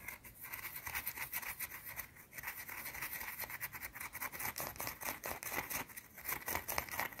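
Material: Soap.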